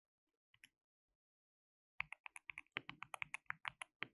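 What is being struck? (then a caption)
Plastic mechanical keyboard. Both hands type continuously with their fingertips on a compact, white-cased mechanical keyboard with a hollow case, white and pink plastic keycaps and RGB backlight. Two faint clicks come first, then after a pause a fast run of sharp, bright, clacky keystrokes, 18 in all. Each keystroke is very short with almost no ring.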